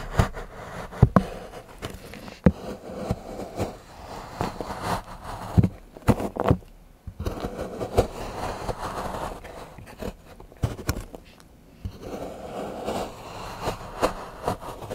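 A large steel knife shaves and scrapes the edge of a solid milk chocolate bar into curls on a patterned board while fingertips hold the bar. The result is a series of dull, low scraping strokes broken by short, sharp snaps that stop dead with no ring.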